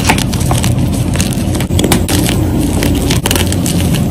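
Solid white gym chalk squares are snapped and crushed by fingers with dark nails, the powder falling into a bowl of chalk. A fast, continuous run of dry crackling and crunching rides over a loud, low-heavy rumble, with bright crisp snaps throughout and a few sharp breaks standing out.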